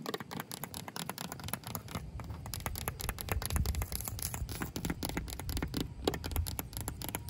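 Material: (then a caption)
Asphalt. Long pink acrylic nails scratch and tap on cracked, solid, gritty asphalt pavement. It makes a dense run of quick, dry clicks and rough scraping, with a steady low rumble underneath.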